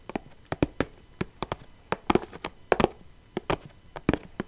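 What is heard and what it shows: Long painted nails tap the lid of a small clear plastic box filled with loose rhinestones, held in one hand. There are 17 short, sharp plastic clicks in an uneven rhythm, some coming in quick pairs. Each tap dies away almost instantly against a quiet background.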